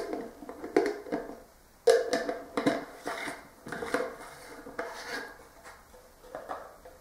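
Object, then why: Plastic jar with screw lid. A clear, hollow plastic Talenti ice cream jar has its black plastic screw lid taken off and put back on, then the lid's top is tapped with fingertips and short nails. It makes a series of irregular, dry, hollow plastic clicks and taps with a mid-pitched tone and very little ring, separated by quieter scraping handling sounds.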